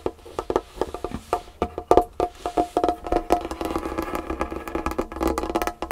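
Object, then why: Wooden tabletop. Long nails tap quickly and scratch on a large solid dark wood tabletop, then hands rub across the surface. The taps are short, dry, hollow knocks with a woody tone around 700 Hz and almost no ring. They give way to a steadier rustling scrape toward the end.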